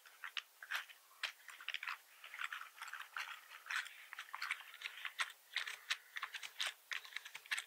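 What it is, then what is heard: Plastic computer keyboard. Both hands type with their fingertips on a black plastic computer keyboard with red keys and a hollow body. A rapid, uneven stream of short, dry clicks and clacks sits in the mid and high range with almost no low end. Each keystroke dies away almost instantly.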